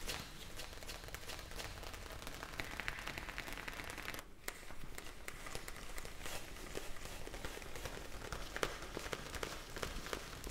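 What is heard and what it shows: A clear plastic bag of small blue gel beads, held in the hands, is tapped with long nails and shaken. Quick, sharp clicking taps and bright plastic crinkling run over a steady low rumble, with a brief quieter gap just after four seconds before the tapping resumes.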